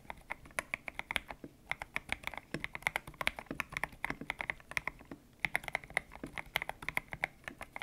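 Fingertips type steadily on a white-cased mechanical keyboard with grey and pink PBT plastic keycaps, its hollow case resting on a desk mat. The keys give a fast, uneven run of short, sharp clacks, each dying away instantly. The sound is bright and centered around 2 kHz, with very little low end.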